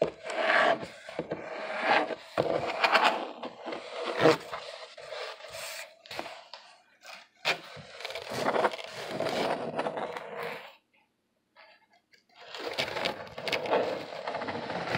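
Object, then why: Corrugated cardboard box. Fingertips rub and scratch the side of a corrugated cardboard box up close, making dry, papery scraping strokes with bright, high rasp above a midrange body. The scratching comes in uneven bursts with short pauses and a near-silent gap before it resumes for the final few seconds.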